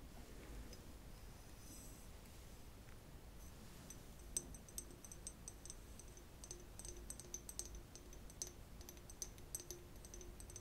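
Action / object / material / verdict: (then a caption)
tap / small glass flask / glass / none. Long acrylic nails tap and click along a small, clear, empty, hollow conical glass flask or bottle. Soft, sharp clicks come in scattered bursts, with a few louder taps that give brief, bright glassy pings over a quiet, low background hum.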